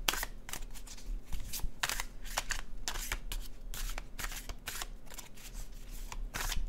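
A dark blue cardstock tarot deck is shuffled and squared by fingertips, giving a run of quick, bright papery riffles and soft taps. The sound sits over a steady low hum, with no speech.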